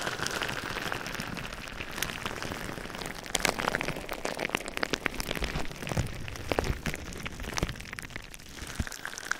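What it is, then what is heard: Plastic bubble wrap. Fingertips squeeze and rub clear plastic bubble wrap covering a microphone on both sides, producing a dense stream of crinkling, rustling plastic with sharp bright pops and crackles scattered throughout, busier and louder in the middle.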